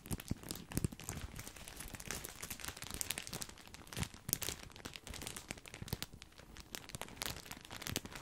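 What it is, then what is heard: Full plastic bag of breadsticks. A large, full, white printed plastic bag of grissini breadsticks is crinkled with the fingertips. Dense, continuous crackling and crinkling runs throughout, with sharp bright snaps and a soft low rustle underneath, and no ringing after each crackle.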